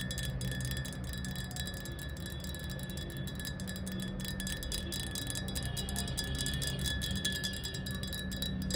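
Long nails tap rapidly and irregularly on a clear, hollow glass bottle standing upright, mostly empty with a little liquid at the bottom. The taps make bright, ringing, chime-like clinks that run together, with a steady ring around 1.7 kHz and 3.4 kHz that lingers over a dense low rumble.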